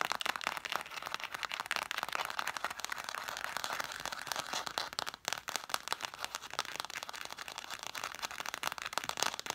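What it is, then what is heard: Stack of cloth-bound hardcover books. Long nails tap rapidly on the spines and top cover of a stack of red cloth-bound vintage hardcover books. The result is a dense, steady run of dry, crisp clicks and soft scratchy textures, bright in tone with no low end, pausing only briefly about halfway through.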